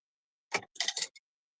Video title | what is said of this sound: Tuesday LIVE Sale | It sounds like glass. It's amazing.